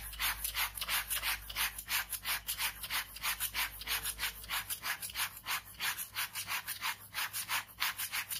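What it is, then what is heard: Ballpoint pen scratching on a sketchbook page. A ballpoint pen scratches fast cross-hatching on a white sheet of paper in a sketchbook resting on fabric. About 27 quick, bright, papery strokes come in a steady rhythm, roughly three per second, each with a short raspy scratch.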